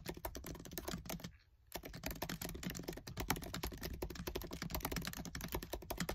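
Fingertips with short nails type fast on the black plastic keys of a MacBook Air keyboard set in an aluminium body. A dense stream of short, crisp clicks and soft thuds with a low, dull body stops for a brief pause near the start, then carries on steadily to the end.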